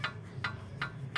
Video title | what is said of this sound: CARA GANTI TIE ROD AVANZA LAMA !!!PASANG SENDIRI | goyang begini jadinya berisik berisik deh nih ada bunyinya